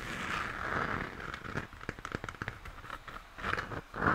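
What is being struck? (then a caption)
Plastic moon lamp. Fingernails scratch the textured plastic on the base side of a hollow plastic moon lamp. A soft, crackly scratching with a mid-range hiss around 1.4 kHz gives way to a run of sharp, dry clicks, then swells back into louder scratching at the end.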